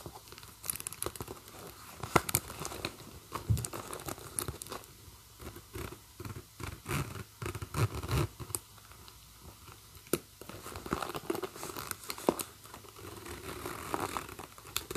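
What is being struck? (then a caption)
Metal zipper on a faux-leather handbag. Fingers with long nails pull the metal zipper slider along the metal teeth of a leopard-print and black faux-leather handbag, zipping and unzipping it repeatedly. Quick, dense clicking rasps come in bursts with short pauses, with crinkly scraping and soft tapping between strokes.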